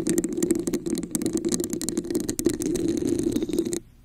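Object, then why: Textured plastic cup over a microphone. A hollow red plastic cup with a raised diamond texture sits upside down over a microphone while long acrylic nails tap and scratch across its surface. The result is a dense, continuous rattling scrape with a resonant hollow tone around 340 Hz and bright clicks layered on top. It cuts off abruptly just before the end.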